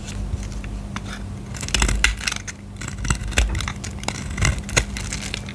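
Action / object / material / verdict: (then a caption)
scrape / bar soap scraped with a knife blade / soap / none. A solid purple bar of soap held in the hand is scraped with a utility knife blade, shaving off dry flakes. Irregular bursts of bright, crackly scraping and crunching come through over a steady low hum, with several louder scrapes standing out.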